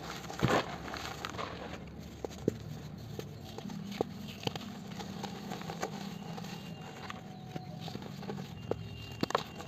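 Gloved fingers squeeze and crumble a palm-sized solid chunk of dry cement over a blue bucket filled with cement powder, and dusty crumbs pour from the hands. A steady, low, gritty crunching runs throughout, broken by sharp, dry cracks and snaps scattered across the clip.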